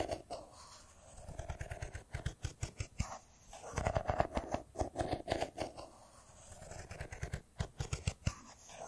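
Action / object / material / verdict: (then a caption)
tap / smartphone in metal-and-glass body / metal and glass / none. Fingernails tap and scratch a solid, hand-sized silver smartphone with a metal-and-glass body as it is held in the hands. Rapid, close-up clicking taps come in uneven bursts with dull low thumps and short scratchy scrapes. A faint midrange ring sits under the louder passages, and the clicks die away almost instantly.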